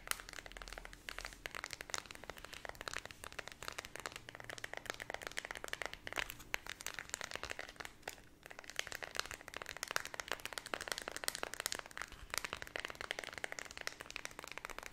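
A small white plastic LED remote control with colored rubber buttons is held close while long red nails tap and scratch its keys and edges. Dense, fast, dry clicks and crackling scratches run throughout, bright and crisp with almost no low end. There is a brief lull just past eight seconds.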